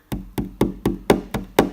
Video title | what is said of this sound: BIGGER Bites - VLOG No.3 - | when you knock over here you hear a very hollow noise